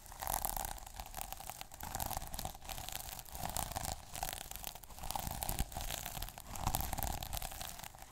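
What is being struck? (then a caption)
Plastic sequin notebook cover. Fingers scratch the plastic sequins on the cover of a small sequin notebook and rub along its white page edge. The result is a steady, bright, crackling scratch that swells and fades in waves, with a soft low rumble underneath.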